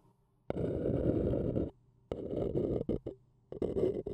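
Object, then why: Paper cup. A thin wooden stick scratches around the rim and inner wall of an empty, hollow, printed white paper cup held in one hand. A dry, papery rasp centered in the low-mid range comes in separate strokes: a long steady scrape, a broken run of shorter scratches, then a final burst. A faint low hum sits in the gaps between strokes.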